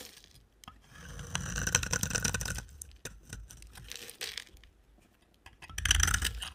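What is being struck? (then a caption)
Bar of soap shaved with a blade. A box cutter blade shaves and scrapes crumbly curls off the end of a solid, palm-sized, orange-brown rectangular dry soap bar held in hand. Dry, crisp scraping and crunching bursts carry a bright, high edge. The strokes come in uneven waves with short pauses between them.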